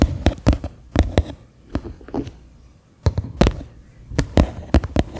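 Fingernails tap the flat bottom of a medium faceted white plastic bowl turned upside down, hollow and empty. The taps land as sharp, dry clicks with a deep, hollow thump underneath, coming in quick irregular clusters separated by short pauses. Each tap dies away almost at once.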